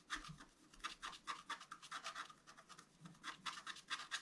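A wooden stylus scratches continuously across the coating of a flat, black-coated scratch art card, about A4 size, resting on a table. It makes a quiet series of irregular, dry scratching strokes with a bright, papery rasp centered around 1.6 kHz and reaching high, with almost no low end.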